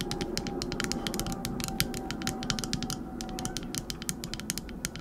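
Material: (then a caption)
Epoxy resin. A small solid teal epoxy resin shell-shaped trinket dish is held close and its back is scratched and tapped with long acrylic nails. Quick, sharp, bright clicks come in a rapid, uneven stream over a steady low, rough scratching texture. The taps are dry and short, with almost no ring.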